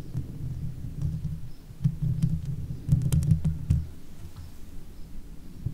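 Long fake nails on one hand scratch the top of the hollow metal mesh head of a Blue Yeti microphone, producing a dense, boomy low rumble of scraping. A few brief bright ticks cut through near the middle, where the scratching grows louder, before it settles back to a steady low rustle.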